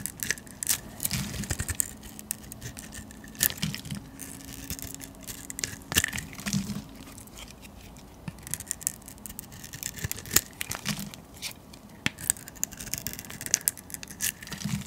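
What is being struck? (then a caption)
Bar of olive oil soap scraped by a metal blade. A metal blade scrapes across a solid green olive oil soap bar held in the hand, shaving curls from its surface. Bright, crisp scraping strokes come in quick, uneven bursts with short dry clicks between them, over a faint low hum.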